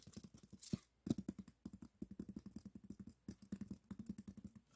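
Fingertips and nails scratch along the top of a long, solid white expanded polystyrene block. The result is a quiet, rapid series of dozens of short, dry scraping strokes with a low squeaky tone, broken by one brief pause.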